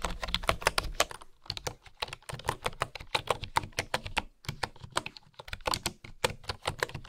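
Fingertips and long nails type steadily on the bamboo keycaps of a bamboo keyboard, producing a quick run of short, dry clicks and taps with bright edges and a light low thump beneath. The keystrokes come in bursts separated by a few brief pauses, and each click dies away almost instantly.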